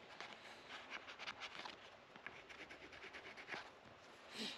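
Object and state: Rosewood guitar fretboard.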